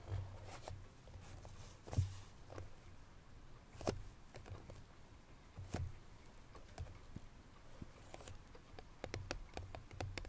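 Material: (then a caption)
Cardboard. Both hands tap with long nails on a small cardboard Chloé perfume box while holding it at the sides. The result is soft, irregular clicking taps with short, dry, bright transients over a low murmur, a few of them louder.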